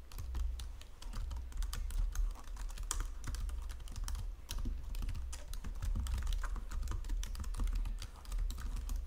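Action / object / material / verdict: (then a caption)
tap / plastic computer keyboard / plastic / none. Fingertips with long painted nails type rapidly on a white plastic Logitech wireless full-size keyboard with low-profile keys, resting on a marble surface. Quick, dense key taps and clicks run continuously over a steady low hum, each tap short and bright with little ring.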